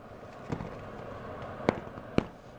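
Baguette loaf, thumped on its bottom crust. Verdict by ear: Hollow.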